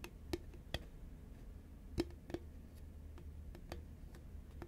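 Fingernails tap the side of a tall, hollow cardboard Pringles can made of composite paperboard, which is turned from lying horizontal to standing upright. A series of short, dry clicks is heard, with a hollow resonance near 344 Hz. A steady low hum sits beneath the taps.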